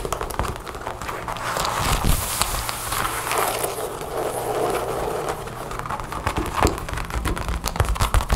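Long blue nails rapidly tap and scratch the chest of a dark brown leather jacket lying flat, its zipper and snap pockets visible. A dense run of quick, dry taps and crinkly scratches continues throughout over a low, steady hum, with a few sharper taps standing out.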